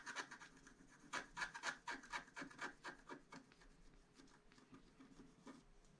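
A small wooden stylus held in the fingertips scratches a flat scratch-art card page, black coating over metallic foil, lying on a table. Quick, fairly regular rasping strokes have a bright, papery edge and a faint whistle-like tone near 1.7 kHz. The strokes are louder for the first few seconds, then soften into lighter, quieter scratching.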